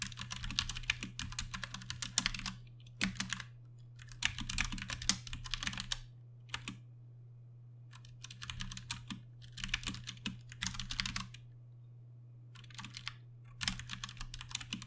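A compact 60% Ducky One 2 Mini mechanical keyboard with plastic keycaps and Cherry MX Brown switches is typed on with the fingertips of both hands. Bursts of rapid, bright, clacky keystrokes alternate with short pauses over a steady low hum.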